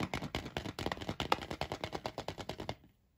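A large unwrapped Kinder Surprise Maxi egg of milk chocolate, a hollow shell with the toy capsule inside, is held in one hand and tapped rapidly with the fingertips and short nails of the other. About two dozen quick, dry, hollow taps run in a steady rattling stream for roughly 2.7 seconds, each with a faint resonant ping, then stop abruptly into silence.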